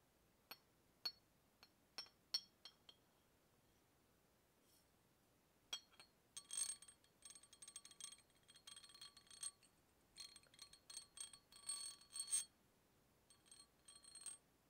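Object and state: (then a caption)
Glass bottle tapped with metal. A hollow brown glass beer bottle, held horizontally, has its neck tapped and clinked with a small metal tool (key or opener) held in the fingers. Six separate bright glassy taps are followed by a pause, then dense bursts of rapid clinking. The clinks ring high and short, with almost no low end.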